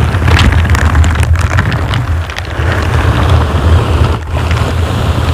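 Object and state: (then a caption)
Foam microphone windscreen being scratched. Purple and green silicone bristle gloves slowly scratch and rub down the sides and top of a dark grey foam microphone windscreen. The result is a steady, heavy low rumble with soft scratchy, rustling texture on top, swelling and dipping slightly as the rubbing moves.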